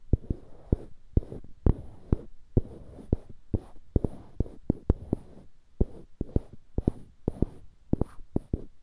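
Fingertips rub and scratch two identical solid light-wood cubes on dark-wood handles, one held in each hand. Soft, dry scratching fills the gaps between many short, low, dull taps that stop almost instantly.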